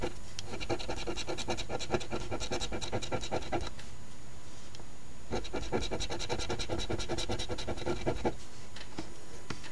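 A $10 OLG Wish List #2450 instant scratch lottery ticket, a thin flat paper ticket with a latex scratch-off coating, lies on a table held down by one hand while the edge of a coin held in the fingertips scratches its gift-box panels. Two bursts of rapid, dry, gritty scratching strokes are separated by a short pause, with a steady low background underneath.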